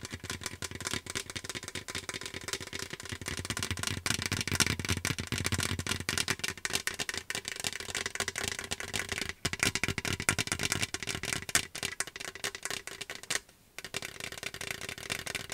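Fingernails tap quickly on the side of a large, hollow, seemingly empty metal popcorn bucket printed with Star Wars graphics, held in the hands. The result is a dense, continuous flurry of bright, dry clicks with a faint tinny ring near 1.4 kHz that dies away almost instantly. The tapping pauses briefly near the end before resuming.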